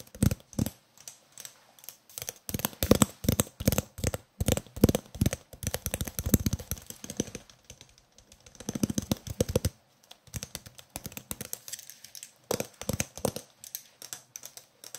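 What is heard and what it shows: Fingertips tap rapidly and irregularly on the side of a roll of green cloth duct tape with a cardboard core, printed label and hollow centre, held in one hand. The taps come in dense bursts with short pauses, each a soft, dull knock with a low hollow body around 230 Hz and almost no ring.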